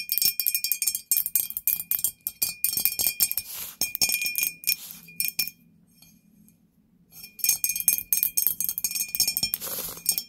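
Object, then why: Ghost-shaped candle holder. A ghost-shaped candle holder is tapped with fingernails in quick bursts of bright, high clinks that ring only briefly. The tapping pauses for about a second and a half near the middle, then resumes at the same quick pace.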